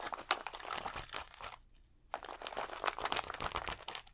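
Fingertips scratch and rub the rows of small acrylic rhinestones on a large, thin plastic sticker sheet held flat against the chest. The result is a dense, bright crinkling and crunching texture with quick clicks. It breaks off into near silence for about half a second midway, then resumes just as busily.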